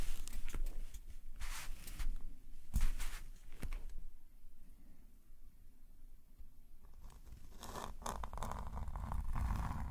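A metal calligraphy nib on a wooden pen, held in a fingerless-gloved hand, scratches across a flat black paper sketchbook page resting on a woven mat while drawing with green ink. Bursts of dry, papery scratching strokes come in quick succession over a low rumble, fade to a quieter stretch in the middle, then return as denser, steadier scratching toward the end.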